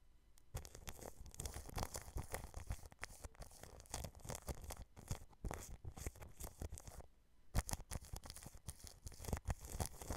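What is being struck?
Plastic cling film wrapped over a microphone.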